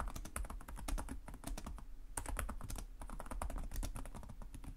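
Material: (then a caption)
Plastic. Fingertips of both hands type rapidly and continuously on a black laptop's low-profile plastic chiclet keys, its hollow body adding a dull low thud beneath each tap. The quick, dense clicks carry bright, crisp tops and die away almost instantly, forming a steady, unbroken clatter.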